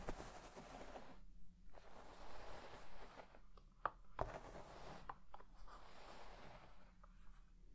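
A white plastic fine-tooth comb is raked and scratched through a large deep-red synthetic shag carpet lying flat. It makes quiet, continuous scratchy rustling in uneven strokes, with brief pauses and a few sharp clicks.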